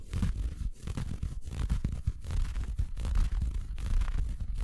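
Fingers scratch and rub a large, empty, soft red felt Christmas stocking with a white plush cuff, held close to the microphone. The sound is a dense, muffled, irregular scratching with a heavy low rumble, plus brief brighter swishes as the fingers drag across the felt.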